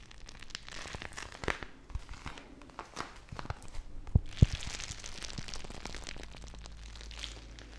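A small clear plastic bag filled full of teal gel water beads is squeezed and crinkled by fingertips with long nails. Dense, irregular plastic crinkling and crackling mix with sharp clicky snaps and bright hissy rustles over a low steady hum, with a couple of louder pops midway.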